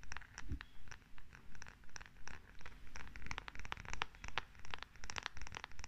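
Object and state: Wooden massage tool.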